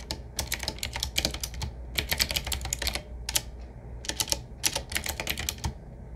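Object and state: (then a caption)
Retro mechanical keyboard being typed on. Fingertips of both hands type on a medium-size, typewriter-style retro mechanical keyboard with round black keycaps in metal rings, set on a wood-finish frame with a hollow case. Bursts of sharp, bright clicking keystrokes come in quick runs separated by short pauses, over a low steady hum.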